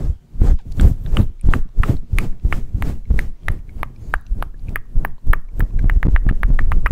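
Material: Faux fur.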